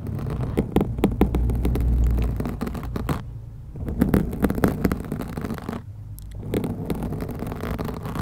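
Very long acrylic nails from both hands scratch a soft, porous black foam windscreen covering a white USB condenser microphone. The result is a dense, rapid, irregular scratching and crackling with a heavy low rumble that eases into two brief quieter stretches before picking up again.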